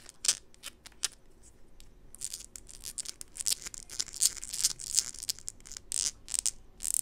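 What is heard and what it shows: A small, hollow white plastic bottle is held in the hands and scratched and tapped with long pink acrylic nails. Sharp, bright clicks and dry scratching strokes come in an irregular series, sparse at first and then denser. Each sound is crisp and high-pitched with almost no low end and stops instantly without ringing.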